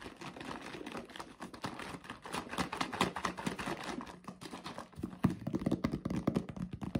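A hand-sized yellow Tetra Pak-style paperboard drink carton with a white plastic screw cap, hollow and apparently filled with liquid, is held in both hands, shaken and tapped with fingertips. It makes a steady stream of quick, soft, dull taps and thumps with a low, hollow body tone, and the taps grow louder and denser toward the end.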